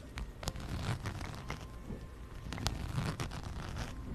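Long nails scratch and tap a plaid fabric and brown faux-leather wallet, held in both hands over the mic, moving across its fabric, leather trim and zipper edge. Soft rustling, scraping strokes mix with sharp clicky taps against a low rumbling undertone.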